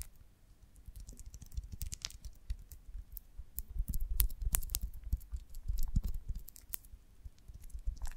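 A golden beeswax honeycomb on a branch is held in the hands and turned while long nails scratch and tap its wax surface. Quick, irregular soft taps and scratchy clicks carry dull low thumps with sharp, bright ticks on top, each dying away almost instantly.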